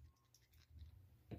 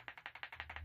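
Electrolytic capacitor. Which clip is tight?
The first.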